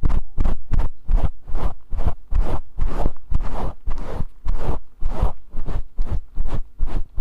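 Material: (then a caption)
Synthetic fur. Fingertips scratch and rub a grey faux fur microphone windscreen held in both hands. The result is a rapid, uneven run of loud, close, scratchy rustling bursts with a heavy, muffled low-end thump and bright fizzy edges, separated by brief dips.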